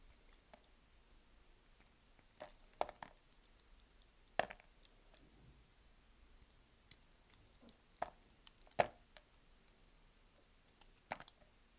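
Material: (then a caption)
Soap. A solid beige scored bar of soap, held in one hand, has small cubes cut and scraped off it with a utility knife blade. Soft, dry cutting clicks and crisp snaps come at irregular intervals over a quiet background. The sharper cracks stand out as each cube breaks away.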